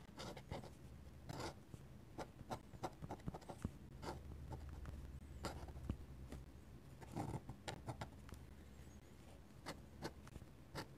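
A steel dip pen nib is drawn by hand across a flat paper sketchbook page, scratching ink lines onto it. Quiet, short, dry scratching strokes come in uneven bursts, some longer rasping sweeps among them, over a faint low hum.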